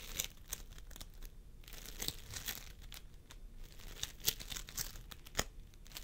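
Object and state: Floam sculpting foam (polystyrene beads).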